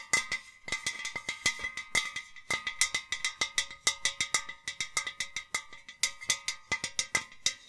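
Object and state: Enamel metal milk jug tapped.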